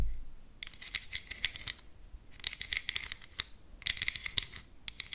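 Long green acrylic nails tap a small, flat, rectangular black plastic contour palette, a hollow compact case with embossed lettering on the lid, held up in one hand close to the microphone. The taps come in three bursts of rapid, crisp, high-pitched clicks, with a few scattered single taps. Each click dies away instantly, with no ring, over a quiet background.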